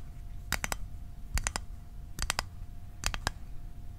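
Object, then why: Small closed metal mint tin. Fingernails tap fast on a small, closed, hollow rectangular metal Altoids mint tin held near the microphone. Thirteen sharp, bright clicks come in quick groups of three with almost no ring. A low rumble and a faint steady hum sit underneath.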